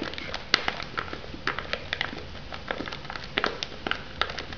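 Long nails tap and scratch the lid and sides of a shrink-wrapped foam noodle cup. Quick, dry clicks and crinkly scratches arrive in an irregular stream, bright and short with almost no ring.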